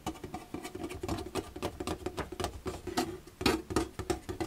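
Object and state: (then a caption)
Plastic storage box. Fingertips rub and scratch the white slotted front panel of an empty, hollow plastic storage box held up in the air. A quick run of dry, patter-like scrapes and taps follows, each with a short hollow ring around 320 Hz and bright scratchy edges.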